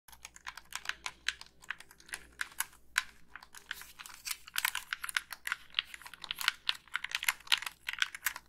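Long pink acrylic nails tap and click the buttons, sticks and plastic body of a black, hand-sized Xbox 360 plastic gamepad with a hollow shell. A rapid, irregular stream of dry, bright clicks and taps is heard, each dying out almost instantly with almost no low end. Some taps are louder than others, much like fast typing on a keyboard.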